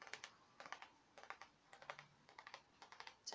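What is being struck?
Thin printed tin wall sign.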